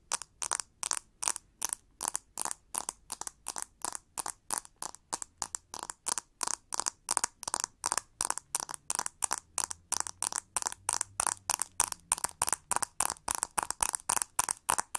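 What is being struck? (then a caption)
Plastic hair brush with ribbed handle. Long gold nails tap and scratch the textured back of a pink plastic hair brush with a long ribbed hollow handle and metal-tipped pins at the edge. The result is a steady, rapid run of short, crisp scratching bursts with a bright, papery rasp centered near 900 Hz and extending high, with almost no low end and no ring between strokes.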